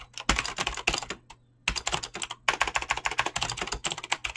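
Fingertips with short painted nails type fast on a Razer BlackWidow mechanical keyboard with clicky green switches and pink-blue dyed PBT plastic keycaps, a solid object on a desk. Rapid, bright, sharp clicks come in quick bursts, with a brief pause just before the middle. Each keystroke dies away almost instantly.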